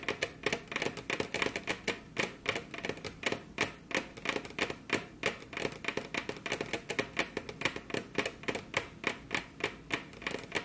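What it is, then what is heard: Wooden table top. Very long curved fingernails from both hands tap their tips on a flat, solid, glossy dark-brown wood-grain table top. The result is a quick, uneven stream of short, dry, bright clicks, about three per second, each dying away almost at once.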